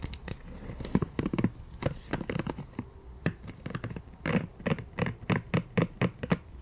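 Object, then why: Silicone scalp massager. A pink silicone scalp massager, held in both hands, is tapped and scratched with long nails on its bristles and body. The result is a rapid, uneven series of soft, dull taps and brief scratchy brushes, mostly low in tone with little brightness, each dying away almost instantly.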